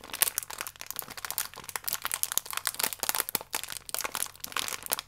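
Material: Plastic.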